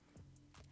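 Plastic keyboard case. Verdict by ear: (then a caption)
Solid. Taps on the thick plastic case of a YUNZII SK71 optical mechanical keyboard give a few quiet, dull, low knocks with a short muted ring. The case sounds solid with little to no flex, showing solid build quality for its price.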